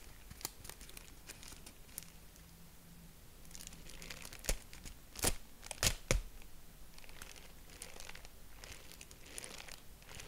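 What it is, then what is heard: Tissue paper honeycomb crinkling. Purple tissue-paper honeycomb is folded and opened with fingertips, giving soft, steady crinkling over a faint low hum. Several sharper, brighter crackles stand out near the middle before it settles back into quiet rustling.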